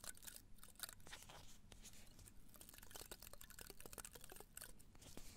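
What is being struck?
Potted cactus spines.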